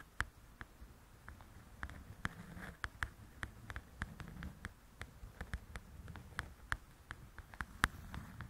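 Long nails tap and scratch across the glossy cover of a large, flat paperback coloring book. About 28 short, crisp taps click out quietly over a soft, low scratching rustle, each tap dying away almost at once.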